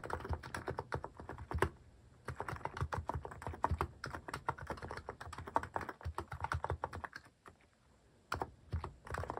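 Fast fingertip typing on a Hanmumu plastic mechanical keyboard with cat-shaped plastic keycaps produces rapid, clicky keystrokes with a low thock. The bursts of typing break off in brief pauses, with a longer lull before the last flurry of keys.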